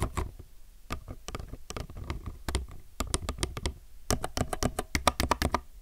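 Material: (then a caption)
Plastic. Slow fingertip typing with both hands on a low-profile mechanical keyboard with plastic keycaps, producing a run of short, crisp clicks and clacks with a bright top and a soft low thump beneath. The presses come in uneven bursts, growing denser and slightly louder toward the end.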